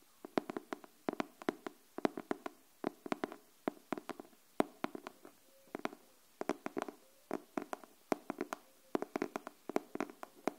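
Long nails tap the cover of a pink cardboard hardcover paper notebook held upright, producing over fifty quick, sharp clicks in an uneven, gentle rhythm, often in small clusters. Each tap is dry and dies away almost instantly, with a hollow, papery body in the low mids and a bright tick on top, against near silence.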